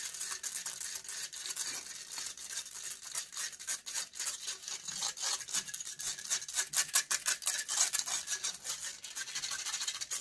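Long nails scratch and pick rapidly at the metal wire-mesh grille of a USB microphone. The result is a dense, irregular stream of bright, crackly scrapes and clicks, almost all high-pitched, with no low end.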